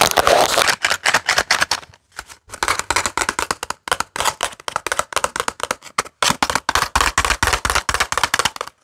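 A small printed cardboard box filled with paper clips is tapped with fingertips and nails and handled. This produces a rapid, uneven series of short, dry taps with a bright, papery rattle and little low end. The taps are broken by brief pauses around two and six seconds.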